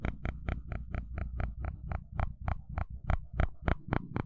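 A flat wooden stick is scraped and flicked across the teeth of a small, solid, blue plastic fine-tooth hair comb held in hand. It makes 17 quick, brittle ratcheting bursts at a slightly uneven pace, each a short bright crackle over a low rumbling hum, with almost no ring after each stroke.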